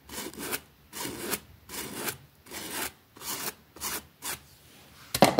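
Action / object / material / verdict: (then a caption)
scrape / small fabric rug scrubbed with a plastic bristle brush / fabric / none. A pink plastic bristle brush scrubs a small, flat, damp green fabric rug with a rabbit print lying on a concrete floor. Repeated bristly rubbing strokes produce bright, hissing rasps separated by short pauses. The clip ends on a louder, harsher scrape.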